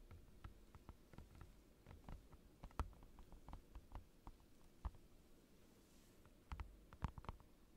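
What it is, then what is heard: Clear plastic desk mat. Fingertips and short nails tap a clear plastic desk mat, a large flat transparent plastic sheet lying on a desk, close to the microphone. The result is a quiet, irregular patter of short, dull taps that are mostly low thud with a faint clicky edge. Each tap dies away almost instantly, with a few louder taps standing out near the end.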